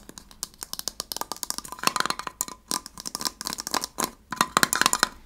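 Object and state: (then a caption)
Small metal tin tapped with nails. A small gold heart-shaped metal tin is tapped quickly with fingernails on its lid and side. The result is a rapid series of short, bright metallic clicks and light clinks with almost no low end, each dying away at once, with a faint ringing tone around 1.4 kHz.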